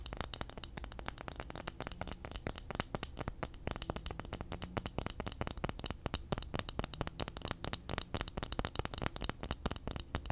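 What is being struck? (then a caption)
Flat bamboo disc. Fingernails scratch and tap the face and edge of a flat, solid, round, palm-sized bamboo disc held near a foam microphone. The result is a dense, steady stream of dry, sharp clicks and raspy scratches with a soft low body and bright, crisp ticks that stop almost instantly.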